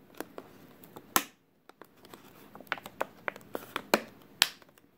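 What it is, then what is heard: Plastic water bottle. A clear, thin plastic water bottle with a label, partly crushed and mostly empty, is squeezed and crinkled with fingers. Sharp, bright crackles and pops come at an irregular pace, with a brief silent gap early on and a few louder snaps toward the end.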